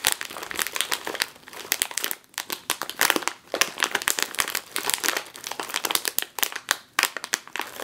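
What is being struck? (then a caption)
Foil-lined plastic chip bag. Both hands with long nails squeeze and crinkle a full, sealed, foil-lined plastic chip bag, back side up, against a table. The result is a dense run of sharp, bright crinkles and crackles with almost no low end, each burst cutting off almost instantly in short pauses between squeezes.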